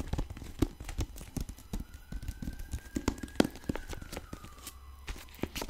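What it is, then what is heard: Hardcover book with paper dust jacket. A medium-sized solid hardcover copy of the novel "One of Us Is Lying" in a glossy paper dust jacket is held up to the mic in both hands and scratched and tapped across the cover with long pink acrylic nails. A fast, uneven string of sharp, dry, low-weighted taps with almost no ring sits over a scratchy rustle, and some crinkling may come from the loose jacket. A faint, thin tone drifts up and back down in the background partway through.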